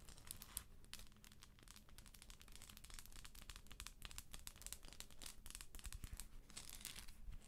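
Long acrylic nails tap and scratch the textured shell of a hollow plastic galaxy moon lamp held in the hand. The result is a quiet, continuous stream of rapid, dry, crinkly clicks and scratches with bright, short transients over a low steady hum.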